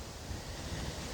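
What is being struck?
Nothing is struck.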